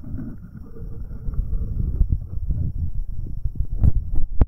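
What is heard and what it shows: The right capsule of a pair of metal binaural microphones is rubbed and tapped by fingertips in rubber finger cots. Deep, muffled scraping rumble fills the clip, broken by soft thumps, with a few sharper, brighter taps near the end.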